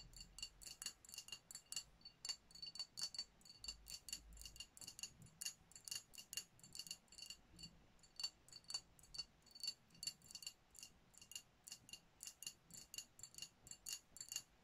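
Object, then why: Glass champagne bottle. Long nails tap rapidly across a hand-held dark glass sparkling wine bottle with a foil top, striking both the glass and its label. The result is a quick, uneven run of dozens of crisp, bright clicks and ticks that die away almost instantly, with a faint high glassy ring and little low-end body.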